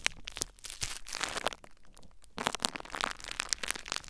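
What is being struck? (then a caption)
Plastic bubble wrap. Fingertips and nails lightly scratch and crinkle clear plastic bubble wrap mounded over a recorder. The result is a dense, bright crackle of crinkling plastic with sharp little snaps, easing into a softer, quieter stretch midway before picking back up.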